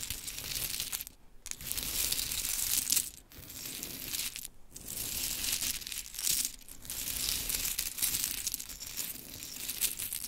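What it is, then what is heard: Pile of small wooden clothespins. A pile of pink-painted wooden mini clothespins on glitter fabric is scooped up in handfuls by long chrome nails and dropped back, then raked through the pile. The result is a dense, bright clatter of many small wooden clicks in repeated waves, broken by short quiet gaps between handfuls.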